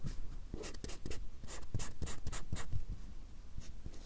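A fine black drawing pen makes scratching strokes on a small, solid stack of white paper or card held upright in front of the microphones. Short, dry, bright scratches come one after another with a soft low rumble underneath. Each stroke stops cleanly with no ring.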